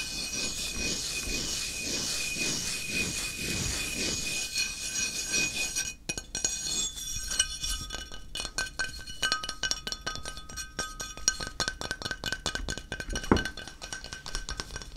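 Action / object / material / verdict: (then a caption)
tap / flat ceramic tile tapped with fingertips / ceramic / none. A flat, square, solid grey stone-look ceramic tile is held in one hand and tapped on its face with the fingertips of the other. For the first six seconds there is a steady, bright, rustling wash of quick taps with gentle rhythmic swells. After that come sparser, irregular clinking fingertip taps with short, glassy rings and a faint sustained tone.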